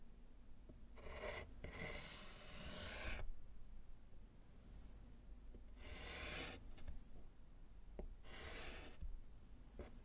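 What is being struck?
Slate chalkboard with chalk.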